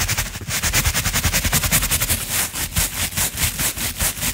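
A natural-bristle brush with a wooden handle is swept back and forth over a round, coiled jute rope mat. The result is a steady run of quick, dry, scratchy strokes with a bright, hissing texture over a soft low rumble. Each stroke cuts off sharply with no ring.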